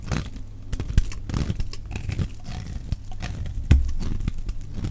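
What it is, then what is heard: Dry bar soap being shaved. A solid, dry yellow laundry-type soap bar held in the hand is shaved into flakes with a metal utility knife blade. Repeated short, crisp scraping and crackling strokes sound close and dry, with a low thudding undertone and sharp clicks as the blade bites. The shavings flake off in a rapid, uneven rhythm.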